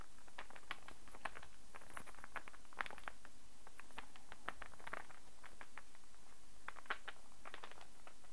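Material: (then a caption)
Wood. Fingertips and nails tap a solid light-wood star burr puzzle as it is held and handled, and its pieces click against each other. The result is a quiet, irregular patter of short, dry, bright wooden ticks centered around 1.7 kHz, over a steady low background hum.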